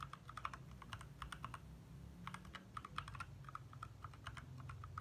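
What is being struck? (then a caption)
Plastic mechanical keyboard. Fingertips from both hands type fast taps on a compact 60% backlit mechanical keyboard with lit plastic keycaps. Short, bright clicks come in quick bursts with brief pauses between them, over a low steady hum underneath.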